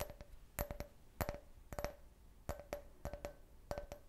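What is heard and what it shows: A clear, hollow, empty can-shaped glass beer glass is held in the hand and tapped with fingernails. It makes quick clusters of short, crisp clicks with a faint glassy ring near 600 Hz and bright high overtones, each tap dying away almost at once.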